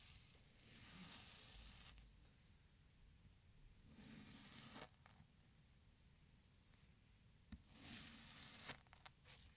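A twisted metal spoon scrapes and scoops into the side of a small, solid orange kinetic sand cube resting on a white surface. Soft, gritty scraping swells come in three separate passes, bright and hissy, broken by a few short sharp ticks near the end. Crumbly chunks of sand break off the cube.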